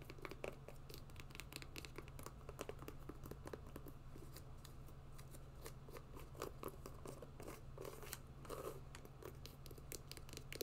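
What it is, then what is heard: Mesh and synthetic hiking sneaker. An empty grey and black hiking sneaker made of mesh, synthetic overlays and rubber is held in the hand and scratched and tapped with long nails. Dense, quick clicks and scratchy rustles run throughout over a steady low hum, with short bursts of slightly louder tapping.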